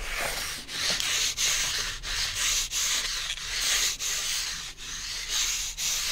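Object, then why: Cardboard sheet. A flat, rectangular piece of brown cardboard is held in the hands, moved from the side toward the camera, and scratched with fingertips and nails. The result is a steady run of bright, hissy scratching strokes separated by brief dips, with almost no low end.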